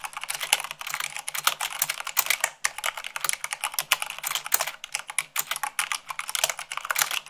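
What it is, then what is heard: Mechanical keyboard. Long pink nails and fingertips type fast, at about 98 words per minute, on a full-size mechanical keyboard with white plastic keycaps on a black frame. The result is a dense, steady stream of crisp, bright clacks with almost no low end and no ring after each keystroke.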